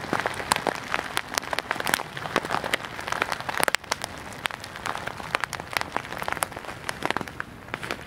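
A clear plastic bag full of white beads is held flat in both hands and squeezed and rubbed with the fingertips close to the mic. The result is a dense, steady stream of crisp crinkles and sharp clicking ticks, like rain pattering on a surface. The sound is bright and high with almost no low end.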